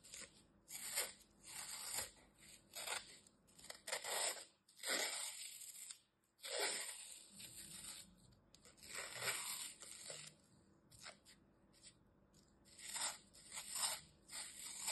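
A small, solid green floral foam piece with glitter-filled dents, held in fingers with red nails, has its edge sliced and scraped off with a metal utility knife. Repeated bright, dry crunching and tearing strokes come in short bursts. Each burst is mostly high-pitched hiss and fades quickly, with brief quiet gaps between cuts.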